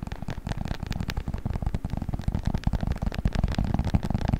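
A beeswax-coated cotton wrap, folded and rolled, is crinkled and squeezed with the fingers. A dense, steady run of soft crackles and crinkles continues throughout, with a heavy low-end thump and little brightness.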